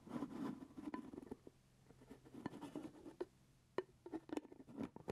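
A full grape jelly jar with a purple plastic lid is held close while fingertips and nails tap and scratch the lid. Quiet scratchy rustling with a low-mid tone alternates with sharp, dry clicks that die away almost at once.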